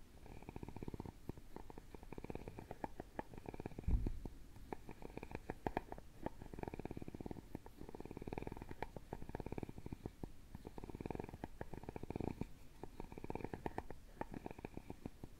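A wooden stick is scraped back and forth across the openwork carved lattice lid of a hollow, round carved wooden jewelry box. It makes repeated passes of rapid, soft clicking that blurs into a low, purr-like rattle. The sound is quiet and dry, with most of its weight in the low end.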